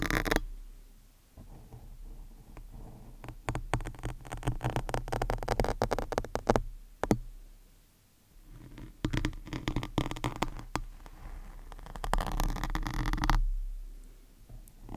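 A thin metal medical needle or probe, held in long-nailed fingers, is scratched across the soft, porous surface of a large black foam windscreen on a studio microphone. The result is close, bassy, crackling scratches and rustles in dense, irregular bursts with sharp clicks and a bright hiss on the strokes. The scratching eases into near-silence around the eight-second mark before picking up again.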